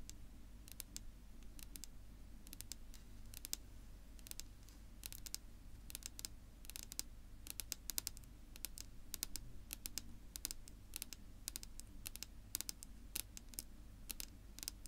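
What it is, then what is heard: Wooden tabletop tapped with fingernails. Long pink-polished nails on two hands tap across a flat, solid, dark wood-grain tabletop. The result is a quiet, rapid stream of sharp, bright clicks that stop instantly with no ring, over a steady low hum.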